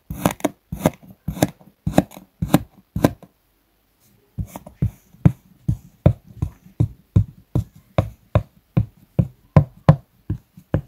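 A metal table knife cuts and scrapes across a solid, flat round disc of purple kinetic sand on a wooden board, scoring it in a crosshatch. Each stroke makes a short, dull, low crunch with a faint gritty edge. A quick run of strokes is followed by a pause of about a second, then a longer, steady series of cuts.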